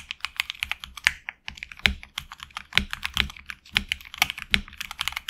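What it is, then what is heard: Mechanical keyboard with plastic keycaps. Fingertips of both hands type quickly on a HyperX Alloy Origins Core tenkeyless mechanical keyboard with HX Red switches, PBT plastic keycaps on an anodized aluminum plate and a hollow case. A steady stream of short, bright clacks centered around 2.2 kHz dies away almost instantly. Occasional harder strokes land with a deeper thump underneath.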